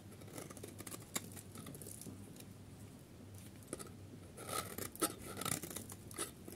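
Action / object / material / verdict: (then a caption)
scrape / bar of soap / soap / none. A solid, oval, yellow bar of dry soap is held in the hand and scraped with a metal craft-knife blade, sending curls and crumbs falling off. Soft, irregular scraping and faint crackling continue throughout, broken by a few sharper, bright ticks and crisp snaps as the blade catches.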